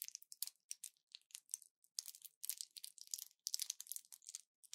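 A small orange plastic pill blister pack with foil backing, held in both hands, is pressed and crinkled with fingertips and long nails. The result is quiet, bright crackling and crinkling in quick irregular bursts, with no low end.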